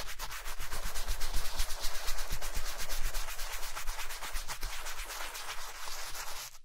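A wooden-backed bristle brush scrubs the toe of a black leather Chelsea boot coated in cleaning foam while the boot is worn on a foot. Quick back-and-forth strokes make a bright, scratchy rubbing hiss with a steady, brisk rhythm over a low rumble, then it tapers off at the end.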